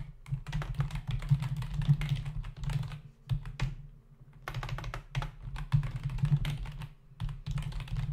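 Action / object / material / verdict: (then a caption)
tap / plastic membrane keyboard / plastic / none. A black plastic membrane desktop keyboard with hollow key caps is typed on rapidly with the fingertips of both hands, producing dense bursts of quick, dry clicks and taps. The typing pauses briefly twice before resuming, over a steady low hum.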